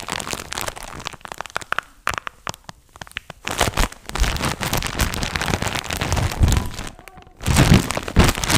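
A large, soft, compressible pack of cotton wool in a plastic wrapper is squeezed, tapped and scratched with gloved fingertips close to the mic. The result is dense, irregular crinkling and crackling of the plastic, with soft low thumps. Brief quieter pauses come near 2–3 seconds and around 7 seconds.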